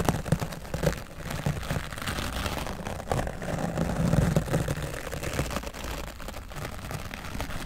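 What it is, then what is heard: Foam microphone windscreen being brushed. A wooden bristle brush is swept across the right side of a grey foam microphone windscreen, producing a dense, continuous scratchy rustling with a heavy, muffled low-end rumble. The brushing stays steady throughout, with a few slightly louder strokes near the start and middle.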